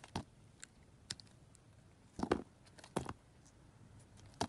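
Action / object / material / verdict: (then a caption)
scrape / solid soap bar cut with a metal knife / soap / none. A metal knife carves and scrapes thin slices off a hand-sized solid soap bar, yellow with a purple glitter layer, held in a hand with long red-black nails. Short, crisp, dry scraping and cutting bursts sound at irregular intervals, with the loudest strokes in the middle and one near the end, over a quiet background.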